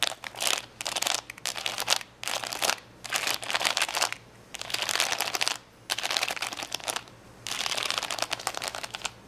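Long fingernails tap and scratch across a large plastic sticker sheet of rainbow acrylic rhinestones lying flat, with blue and purple rows in front. Rapid, bright, crackly clicks and scrapes come in short bursts separated by brief pauses. Each tick is dry and dies away almost instantly.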